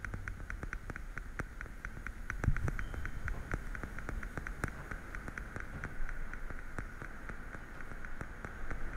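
Fingernails rapidly tap on the lids of a small, hollow, translucent blue plastic weekly pill case held sideways beside the microphone. The result is a steady stream of quick, dry, clicky taps with a bright plastic tone, heard over a low, soft rumble. Each tap dies away almost instantly.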